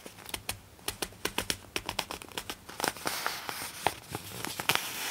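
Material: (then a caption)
Glossy paper. A folded glossy paper poster inside a magazine is unfolded and bent by both hands with long nails, giving a rapid series of sharp, bright crinkles and snaps. Over the second half the crinkling thickens into a continuous high rustle with louder cracks.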